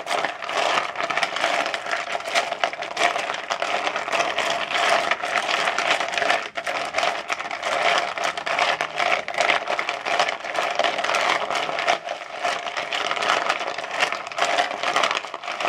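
Fingertips dig into and stir ice cubes in a frosted plastic bowl, producing a dense, continuous clinking and rattling with a bright, crackly texture and almost no low end. The level stays fairly steady throughout, with only brief dips between handfuls.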